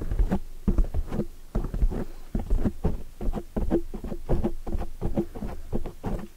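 Long polished nails make fast tapping and scratching strokes on a black foam microphone windscreen. The result is a dense run of soft, muffled, low thumps and rustles with little high content, the strokes coming in quick uneven bursts throughout.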